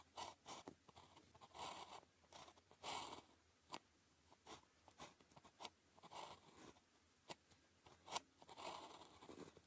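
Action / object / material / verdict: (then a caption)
scrape / ballpoint pen on a thin paper sheet / paper / none. A blue plastic ballpoint pen held in the fingers writes characters on a flat sheet of thin paper with a red grid, its tip scratching over the paper. Quiet bursts of dry, bright scratching come in short strokes, broken by a few sharp ticks and brief silences.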